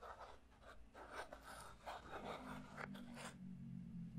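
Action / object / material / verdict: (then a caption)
tap / small clear plastic puzzle cube / plastic / none. A small, clear plastic puzzle cube is held in one hand while the other hand's fingertips and nails tap and scratch its faces, then twist it. Soft, quiet taps and dry scratching come in bursts over a low steady hum, with a faint low tone rising in the second half as the cube is twisted.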